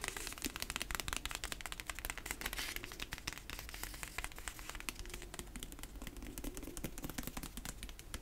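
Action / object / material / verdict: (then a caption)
scrape / hardcover book with cardboard cover / cardboard / none. Fingernails rub and tap the cardboard cover and spine of a dark hardcover book, solid with pages. Quick, dry, crackly taps and scratchy rubbing run continuously, with bright, short clicks that stop almost instantly and a faint low rumble underneath.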